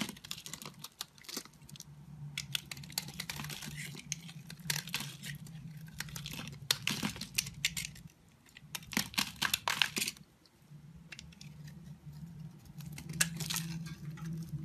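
A utility knife blade shaves and scrapes a hand-sized, solid, cream-white soap bar held in one hand, and the shavings fall off. Bursts of bright, crisp scraping and crackling come in quick runs, with a brief quieter pause near the middle. A steady low hum sits underneath throughout.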